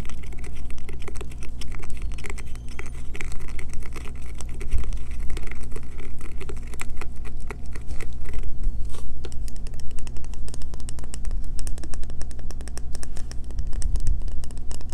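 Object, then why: Bar of soap. A solid green bar of soap is held in the hands and tapped and scratched quickly with long fingernails, making a dense, continuous patter of crisp clicks and scrapes over a steady low hum. The clicks come too fast and close together to count as separate hits.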